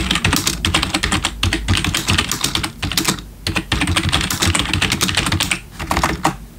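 Fingertips of both hands type rapidly on a black plastic RGB backlit computer keyboard. A dense stream of bright, short plastic key clicks with low thuds underneath briefly pauses around the middle and again near the end.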